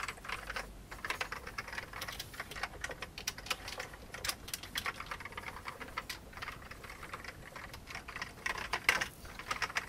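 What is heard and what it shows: Fingertips type steadily on an old beige full-size plastic computer keyboard with hollow keycaps. The rapid key taps are bright, dry clicks that die away almost instantly, with little low end and a few brief pauses between bursts.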